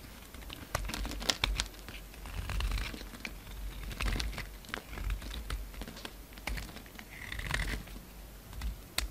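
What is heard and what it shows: A solid pink bar of soap held in the hand is carved and scraped with a utility-knife blade, sending pink chips falling. Sharp scraping clicks and crisp crinkly shaving sounds repeat over a low, soft rumble, with brief bright scratches that die away almost instantly.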